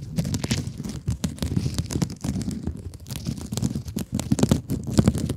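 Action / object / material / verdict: scrape / foam scrub sponge with woven mesh / foam, mesh / none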